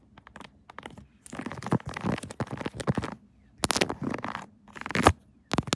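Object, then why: Silicone phone case on a smartphone. Long acrylic nails tap and scratch the raised keys and surface of a pink 3D silicone Kirby phone case with raised buttons, fitted on a smartphone mounted on a tripod. Quick, dry clicks and crackly scraping come in bursts separated by short pauses, with a soft low thud under the brighter scratches. Each tap dies away almost instantly.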